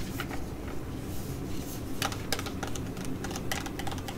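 A flat, filled Cosmetea T5 laminated plastic sheet-mask pouch is held and then laid down while long nails tap and scratch its surface. Quick, uneven, bright clicky taps and crinkly scratches play over a steady low rumble.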